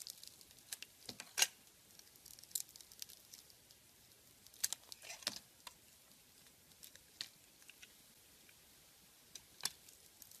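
A metal blade carves and scrapes the colorful glitter-and-sequin coating off a solid oval soap bar with a cream inside, held in the hand. Quiet, bright, crisp scratches and crackling ticks come in scattered bursts, with almost no low end and no ring after each stroke.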